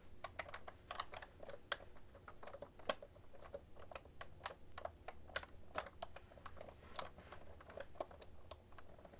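Both hands type with fingertips and long nails on a cream plastic ergonomic keyboard with hollow keys, producing a fast, steady stream of short, bright, clacky key clicks. A low, steady hum sits underneath the typing.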